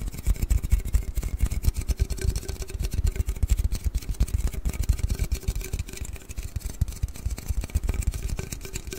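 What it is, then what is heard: Aluminium drink can, tapped and scratched. A large, hollow aluminium Red Bull can is held horizontally in front of the mic and tapped and scratched with fingers and nails. The result is a dense run of soft, low, thudding taps with very short decay, overlaid with faint scratchy texture and a slight metallic ring.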